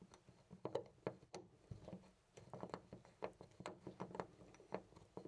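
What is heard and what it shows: A loose brass-finish metal door knob on a white panel door is held by the fingertips and jiggled continuously. It makes a quiet, irregular stream of short, dry metallic clicks and rattles, centered in the midrange with little deep or bright content.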